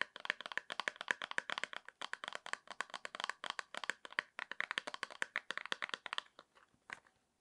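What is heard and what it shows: Long nails rapidly tap, scratch and handle a small, hollow, rectangular printed cardboard box of foot cream holding a cream tube. The result is a dense run of quick, dry, bright clicks and crackles with no low end, which thins to a few scattered taps after about six seconds.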